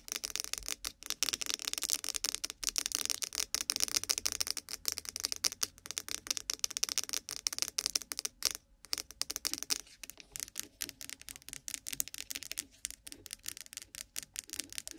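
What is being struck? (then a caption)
Small plastic cosmetic cream jar. A small white lidded plastic cosmetic cream jar, likely hollow with contents and set on top of a binaural microphone, is tapped and scratched fast with long pointed nails. The result is a dense stream of dry, bright, clicky taps mixed with scratchy rasps that stop almost instantly, with almost no low end.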